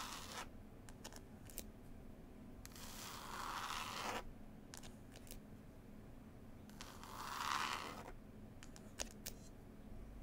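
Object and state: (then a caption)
Cloth-covered hardcover book, scratched and tapped. Long nails scratch and tap the green cloth cover of a solid, closed hardback book. Quiet, scattered sharp taps are broken by two longer, rising-and-fading scratching swells with a bright, raspy texture centred around 1 kHz.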